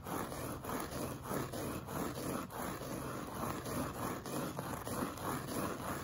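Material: Woven fabric.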